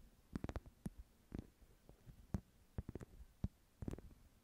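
A small, flat woven wicker/rattan clutch held in both hands is scratched with long nails. The result is quiet, short, dry bursts in irregular clusters, mostly low and dull with brief bright crackly edges, separated by near silence.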